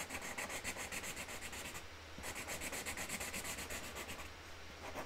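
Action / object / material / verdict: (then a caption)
scrape / felt-tip marker on a cardboard lid / cardboard / none. A hand rubs a pink Sharpie marker back and forth over a flower petal drawn on a flat cardboard box lid resting on a table, colouring it in with continuous strokes. The result is a quiet, steady, bright scratchy rubbing that pulses at about four strokes per second, easing briefly around the two-second mark and again near the end.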